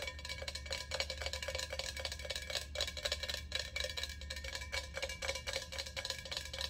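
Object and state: Empty hammered steel ice bucket, hollow.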